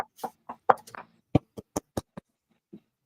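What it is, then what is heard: Dense compressed-wood chipboard. Knuckles knock on an old piece of thick 1.5 mm Cricket chipboard, a dense compressed wood-fiber board, giving an irregular series of short, dry, hollow knocks. Each knock is a midrange thud that dies away almost instantly. The board sounds almost like a piece of wood.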